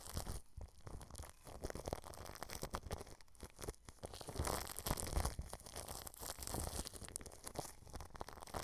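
A paintbrush strokes clear plastic cling film wrapped over a microphone grille, producing continuous crinkling, crackling brushing sounds. The texture is dense and irregular, with a strong low rumble underneath and bright rustling detail on top.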